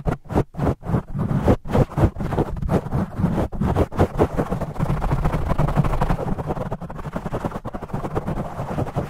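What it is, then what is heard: Foam microphone windscreen. Fast fingertip scratching and tapping with both hands on a black foam microphone windscreen, with the audio sped up 2x. The opening seconds bring sharp, separated taps that blur into a dense, continuous rustling scratch with a deep, boomy low-end thump and almost no high sound.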